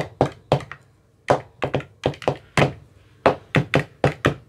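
A thin metal rod with a white rounded tip taps inside the hollow cells of an empty, translucent frosted plastic ice cube tray with 15 compartments and teal bottoms, held close by hand. It makes a series of short, hollow thunks at an irregular pace. Each tap is dull and mid-pitched, with a brief bright edge, and dies away almost at once.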